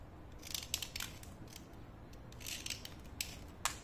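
A thin, solid white-grey slate pencil, held in fingers with long yellow-painted nails, is scraped along its length with a utility knife blade, and the dust falls onto a white plate. It makes a series of short, dry, bright rasping scrapes over a faint low rumble.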